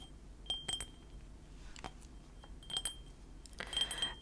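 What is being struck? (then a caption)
Small ceramic mug. Painted fingernails tap a small, hollow white ceramic mug printed with Panda Kopanda cartoon characters, held in both hands. Clusters of light, bright clinks ring at a clear pitch near 3.2 kHz and fade within about a third of a second, over a quiet background.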